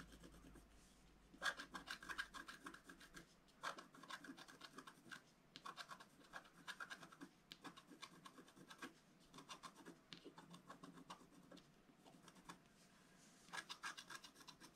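A thin wooden stylus held in the fingers scrapes the black coating off a flat sheet of wax-coated scratch art paper from a scratch book, lying on a cloth. Soft, dry, rasping scratches come in quick strokes and short bursts with brief pauses between, bright and gritty over a quiet background.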